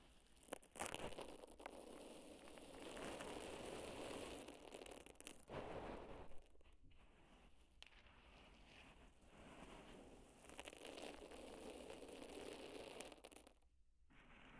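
Two hands grab and squeeze handfuls of dry, loose pearl barley grains from a large bed, then rub and dig their fingertips into the pile. A steady, dense crunching and rustling of shifting grains fills the clip in gritty, uneven waves. Louder squeezes alternate with softer scratching stretches and brief near-silent pauses.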